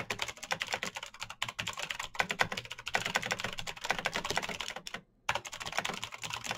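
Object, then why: Plastic mechanical keyboard. Both hands type fast with their fingertips on a black plastic mechanical keyboard with backlit keycaps. A dense, rapid stream of short, bright, clacky keystrokes runs throughout, broken by a brief silent gap about five seconds in before the typing resumes.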